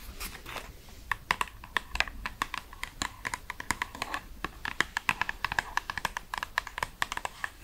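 A small, hollow, light-blue printed cardboard skincare box is held in the hand and tapped and scratched with long red acrylic nails. Quick, dry, clicky taps with a bright tone around 1–2 kHz come in an irregular, rapid stream, with soft scratchy rustling between them. Each tap stops almost instantly, and the overall sound stays quiet and close.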